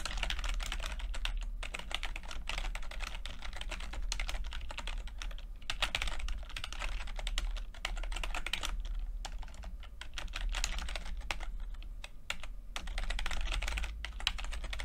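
Fingertips of both hands type continuously on a full-size plastic computer keyboard with red and blue backlit keys and low-profile keycaps. The rapid, dense tapping produces short, bright clicks that die away almost instantly, over a steady low hum.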